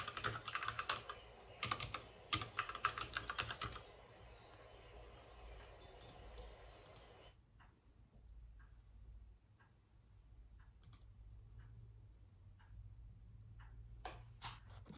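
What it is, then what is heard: Plastic mechanical keyboard typing. A white plastic mechanical keyboard is typed on with the fingertips, and a fast, dense burst of bright, clicky keystrokes fills the first four seconds over a low steady hum. The typing then slows to sparse, isolated key presses made mostly with one hand, with quiet gaps between them, and a last small cluster comes near the end.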